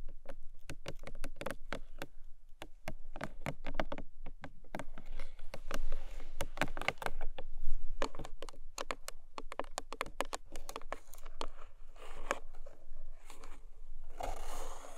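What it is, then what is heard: Cardboard box, hollow. Long nails tap the top of a long, narrow, hollow printed cardboard gift box and scratch along its sides. The result is a steady stream of quick, dry taps with short scratching passages between them, mostly low and dull with little brightness.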